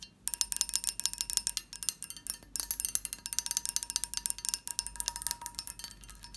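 A textured glass dish is tapped and scratched in a rapid, uneven run of many light taps. Each tap is a bright, high clink that dies away almost at once, over a faint steady tone near 1 kHz.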